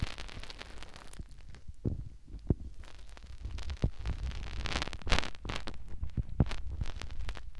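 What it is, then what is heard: Silicone ear on binaural microphone. Fingertips rub and scratch a white silicone ear mounted on a plastic binaural microphone. The result is close, muffled rubbing and scratching, mostly deep rumble, with occasional sharper thumps and brief bright, crackly bursts.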